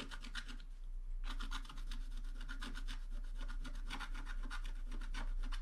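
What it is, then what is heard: Scratch art card scraped with a wooden stylus. A wooden stylus scratches across the lower area of a flat black-coated scratch-art card. Quick, rasping strokes repeat at about four per second, with a brief lull near the one-second mark before the steady, bright scraping resumes.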